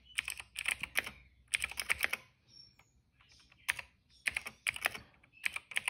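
Fingertips of both hands type on a retro-style cream plastic mechanical keyboard with black and purple keycaps. Quick bursts of sharp, bright clacks centered around 2.3 kHz arrive in clusters, with a brief quieter pause in the middle. Each keystroke stops almost instantly, with almost no low end.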